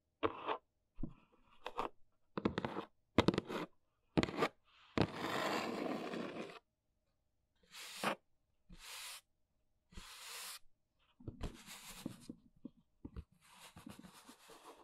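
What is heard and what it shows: Long pink nails tap and scratch the top edge and face of a large, hollow brown corrugated cardboard box. Short, dry, hollow taps come in quick clusters, broken up by longer rough scratching strokes that bring a bright, hissy rasp. The taps cut off almost at once, with no lingering ring.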